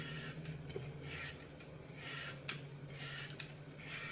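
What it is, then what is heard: Floral foam block being sliced. A hand-sized solid green floral foam brick with a glitter picture on top, held in one hand, has its edge sliced and crumbled with a red-handled knife over a glass bowl. Soft, bright rasping strokes repeat in steady bursts over a constant low hum, with three sharper crunches standing out.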